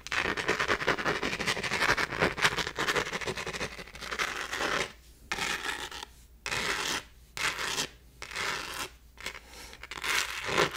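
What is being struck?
Textured plastic phone case.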